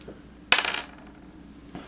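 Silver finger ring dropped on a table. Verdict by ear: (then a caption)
Real silver. A silver yin yang ring is dropped in a silver drop test, giving a single bright metallic clink with a high ring centred near 2.6 kHz that fades within about a third of a second. The high tone marks it as silver, though as a ring it sounds a little different from a coin.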